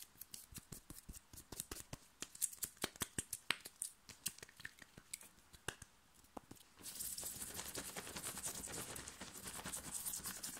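Fingernails of both hands scratch fast across the chest of a thin, worn, light blue cotton t-shirt. For the first seven seconds they come as sharp, bright, separate scratches and flicks; then they turn into a dense, continuous, hissy rasp that runs to the end.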